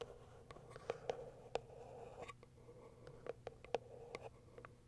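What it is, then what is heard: Cardboard box. Long white nails scratch and tap the top of a small white printed cardboard box. Quiet, irregular dry taps with a hollow mid-pitched tone stand out over a steady soft scratching.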